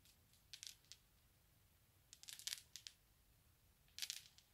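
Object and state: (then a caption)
Glass marbles. Small solid glass marbles on a carpet are rubbed and rolled against each other under a palm and fingertips, then gathered up by the fingers. Brief, bright clicking and grinding bursts come in three clusters over a quiet hiss, with almost no low end and no ring after each contact.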